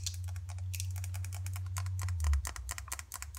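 Long dark acrylic nails tap fast on the sides and lid of a small green plastic face cream jar, hollow and possibly filled. The result is a rapid stream of bright, dry clicks with almost no ring, over a steady low hum.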